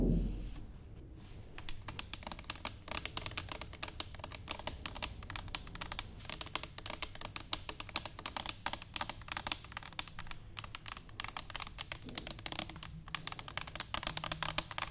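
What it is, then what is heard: Stainless steel canister tapped with fingernails. Long nails of both hands tap rapidly on an upright, hollow stainless steel cylinder canister. A dense, steady stream of bright, crisp clicks continues for the whole clip, over a faint low metallic ring that fades quickly after each tap.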